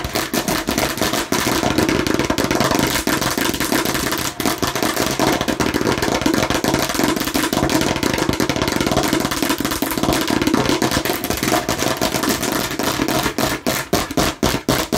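Long nails of both hands rapidly tap and scratch a hollow hard plastic watermelon-slice container with a red cap. The result is a dense, continuous clatter of bright clicks and scraping over a hollow mid-pitched tone. Toward the end the taps become sharper and more spaced out.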